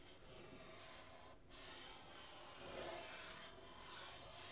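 Fingertips and nails scratch and rub the painted wooden soundboard of a guitar cut in half, a thin hollow wooden body with strings. It produces a steady, bright, airy rasping that swells and fades in slow strokes, with a faint mid-range resonance and brief dips where the motion changes direction.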